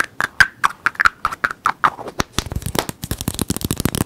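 A small, closed, hollow teal plastic toy egg is held in the fingers and quickly tapped and scratched with the fingertips and nails. Sharp, hollow clicks with a light ringing tone come first, spaced apart, then give way to a denser flurry of rapid, crisp taps and scratches.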